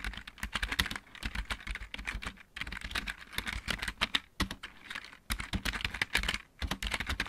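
Both hands type with their fingertips on a full-size backlit plastic mechanical keyboard, giving a rapid run of bright, sharp clacks with a light low thump under each keystroke. The typing comes in quick bursts separated by brief pauses, and each key sound dies away almost at once.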